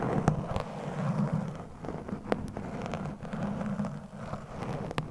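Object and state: Foam microphone windscreen being scratched.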